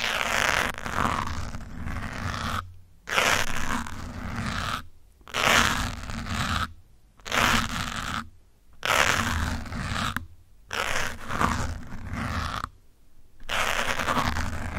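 Metal pins held in the fingers scratch the side and top of a grey foam windscreen on a black microphone with fast strokes. The result is dense, bright, crackling scrapes with a low rumble, in bursts of a second or two separated by brief silent pauses.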